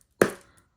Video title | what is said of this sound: Nicolas Rolichon Historic Tarot de Marseille in its complete restoration by Marco Benedetti | when I knock, can you hear this soft, cushioned, airy sound